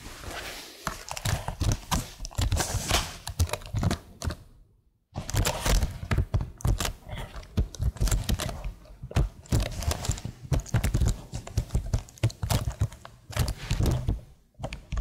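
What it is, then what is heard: Plastic laptop keyboard being tapped. Long nails tap and type on the keys of a tilted plastic laptop keyboard, making a dense, steady run of quick, dull clicks and thunks. The clicks are mostly low and thumpy with little ring, and the tapping pauses briefly near the middle before carrying on.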